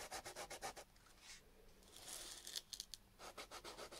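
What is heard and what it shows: A small chunk of raw peeled potato, held in the fingertips, is rubbed back and forth on sandpaper and leaves a wet starchy residue. Quick, rhythmic rasping strokes give way to a longer, smoother scrape with a few bright crackles, then the quick strokes return. The sound is a soft, high, hissy scratch.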